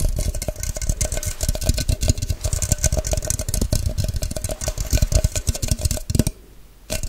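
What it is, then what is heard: Tapping and nail-scratching on a clear plastic measuring cup. Long nails rapidly tap and scratch a tall, hollow, empty clear plastic measuring cup with a white cap. A dense run of quick, thumpy clicks carries a faint hollow ring near 600 Hz under bright scratchy texture. The tapping drops to near silence for a moment just before the end, then starts again.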